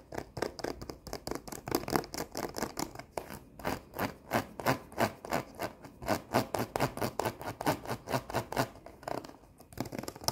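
Long nails scratch and rub across a flat cardboard sheet of rhinestone face stickers. The result is a fast, rhythmic series of dry, raspy strokes with bright edges and almost no ring. The pace runs steadily, dips into a brief quieter gap near the end, then resumes.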